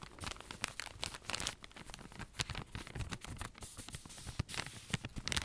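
Fingertips and nails scratch and squeeze the thin, crinkly plastic wrap around a long cylindrical roll of cotton pads held upright. Dense crinkling and scratchy rustles come in quick bursts, with sharp bright crackles over a soft low rumble of handling. Each crackle stops dead with no ring, and the texture stays busy throughout.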